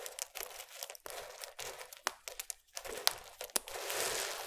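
Fingertips of both hands press, crumble, and stir a large flat bed of small multicolored broken soap shavings and chips. The result is a dry, bright crinkling and crunching with sharp crackling snaps scattered throughout and almost no low end. It ends in a denser, steadier rustle.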